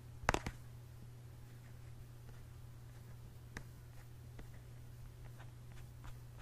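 Fingertips and short nails tap and scratch the printed front of a pink, hand-sized, hollow plastic squeeze tube of peach gel held close to the microphone. A few sharp, dry taps come at the start, followed by faint scattered clicks and light scratches over a quiet, steady low hum.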